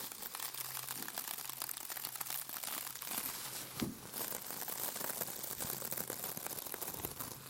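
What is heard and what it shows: A palm-sized rectangular scrub sponge with a glittery white mesh cover, soft and solid, is squeezed and scratched with fingertips and nails. It gives a steady, bright, dense crinkling and scratching texture, with a slightly louder squeeze just before the four-second mark. A faint low steady hum sits underneath.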